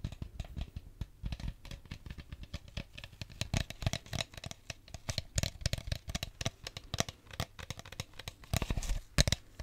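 An empty clear plastic drink bottle is squeezed, crinkled and tapped with fingertips and nails. The result is a rapid, uneven run of sharp crackles and dull taps with a low body and bright edges, each dying away almost at once.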